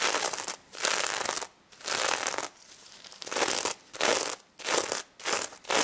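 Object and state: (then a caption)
Sequin fabric plush toy. Long red nails scratch a gold sequin plush pig toy's head and its glittery fabric snout, producing bright, crinkly, rasping bursts. The strokes come in repeated passes separated by brief quiet gaps, and there is no low end.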